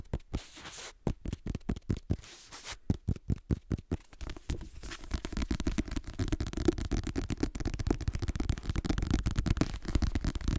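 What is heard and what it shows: Fingertips and short nails tap and scratch the page edges and paper cover of a black paperback book. Spaced, dry taps with brief bright flicks come first, then give way to a dense, continuous low-heavy scratching and rapid patter that holds steady to the end.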